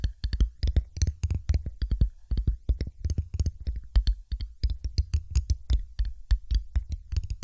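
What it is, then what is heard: Glass test tube tapped with nails. Long pointed acrylic nails tap rapidly on a thin, empty, hollow clear glass test tube held upright on top of a microphone. Each tap gives a short, dry click with a deep low thump and faint bright glassy ticks, in quick uneven bursts that may carry some spatial echo effect.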